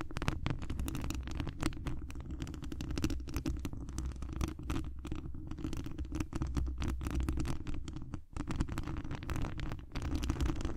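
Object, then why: Metal mesh microphone grille. Long acrylic nails of both hands scratch the mesh wire grille on the hollow dome head of a large cylindrical condenser microphone. A dense, continuous run of rapid scratching and tapping comes through as a deep, rumbling boom with little bright content, and the strokes run together with only brief dips.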